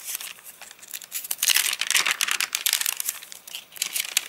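A hand bends and crinkles a single thin page of an open, rain-dried paper catalogue. The result is a dense run of bright, crisp crackles and rustles that swell and fade over about four seconds, with almost no low end.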